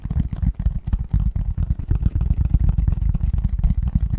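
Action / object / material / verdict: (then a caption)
tap / cardboard box lid / cardboard / none. A medium-sized, hollow, printed cardboard Christmas box lid is held upright in both hands while fingertips and nails tap and scratch its front. The result is a continuous run of soft, deep, hollow thumps and scratchy rustles with almost nothing in the high range, each tap dying away almost at once.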